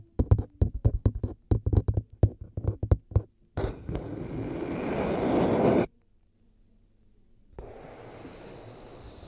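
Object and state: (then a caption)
Plastic headphone earcups. White plastic headphone earcups resting on a binaural microphone are tapped with long nails and fingertips, giving about twenty quick, dry, low clicky taps over the first few seconds. A steady scratchy rubbing follows and grows louder, breaks off into near silence, then resumes more softly.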